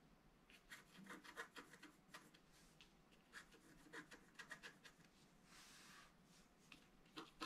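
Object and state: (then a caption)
Scratch art paper being scratched. A wooden stylus scratches fill lines into the basin of a drawing on a flat, black-coated scratch art paper card lying on a table. The result is a quiet run of short, dry, bright scratching strokes, with a longer breathy rasp near the end of the clip.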